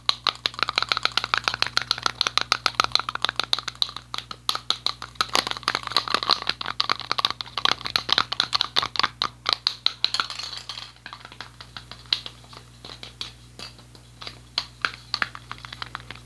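A yellow metal aerosol spray paint can is tapped with fingertips and shaken so the ball rattles inside, making a dense stream of sharp, bright clicks and rattles. The clatter is busiest for about the first ten seconds, then thins into scattered, quieter taps.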